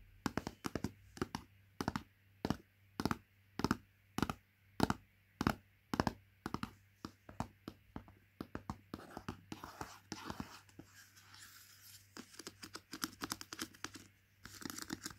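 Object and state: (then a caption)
Plastic pot lid tapped and scratched with nails. Long nails tap and scratch the plastic lid of a plastic Greggs porridge pot. Crisp, short clicks come in a steady rhythm at first, then grow quicker and denser, with brighter, rougher scratching toward the end over a faint low hum.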